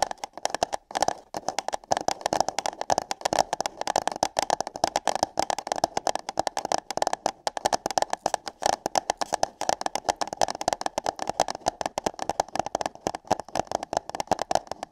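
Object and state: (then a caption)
Paper cup. Long nails tap and scratch hollow paper cups placed over the ears of a microphone. A dense, fast stream of short, dry clicks and scrapes runs through the whole clip, with a hollow midrange resonance around 750 Hz and a thin, bright edge. The taps come in uneven bursts with almost no ring after each one.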